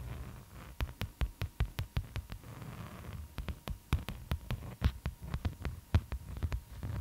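Long acrylic nails scratch and trace across a floral beeswax-coated cotton food wrap. The result is a quick run of sharp, dry clicks and crinkles over a soft, low, muffled rumble, with a brief stretch of rustling in the middle.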